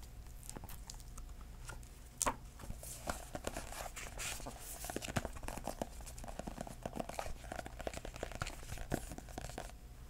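A hardcover book with a purple floral cardboard cover is tapped on its cover with fingertips. The result is a quick, dense run of soft, dry taps with a crinkly, papery edge over a steady low hum. One firmer tap stands out early, and the others stay short with almost no ring.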